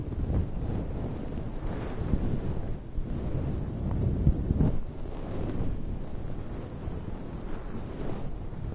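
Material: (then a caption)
Synthetic fur. Fingertips and nails of both hands dig into, rub and scratch a soft, fluffy grey-and-white synthetic fur windscreen over a microphone, like a head massage. The result is a continuous, muffled, deep rumbling rustle, almost entirely low in pitch and wind-like, with a few slightly louder scratchy swells along the way.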